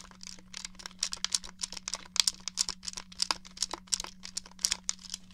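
Fingernails tap the buttons and casing of a hollow grey plastic N64 game controller held up in the hand, making quick, irregular, dry clicks that are bright and high with almost no ring. A faint steady low hum runs underneath the tapping.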